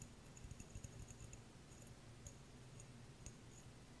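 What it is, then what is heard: Empty glass jar. Long nails tap and click on a small, clear, empty glass jar, making a quiet series of sharp, short clicks with a faint bright glassy tinkle. The taps come in a quick cluster at first, then space out over a steady low hum.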